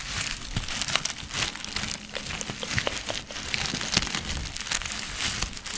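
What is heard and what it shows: A small clear plastic zip-lock bag, partly filled with dried herbs, is crinkled and squeezed with fingers close to the mic. The result is a steady, soft, bright crinkling with fine crackles and rustles throughout, and a faint low rumble underneath.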